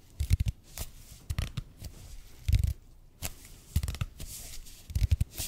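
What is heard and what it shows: Fingertips and nails tap and scratch the surface of a red and white speckled expanded polypropylene (EPP) foam roller, about 30 cm long, held in both hands close to the mic. Clusters of soft, dull, low thuds with almost no ring alternate with brief bright, papery scratching bursts, separated by quiet pauses.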